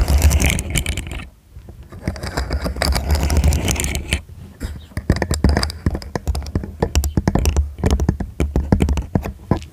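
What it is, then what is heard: Plastic segmented fidget toy. A small, hollow, segmented rainbow plastic fidget toy in a slug or caterpillar style is arched over a foam microphone while fingertips and nails click and slide its segments. Rapid, dense clicking and scraping sounds over a heavy low, boomy rumble, with brief quieter lulls before the clicks return in sharp bursts.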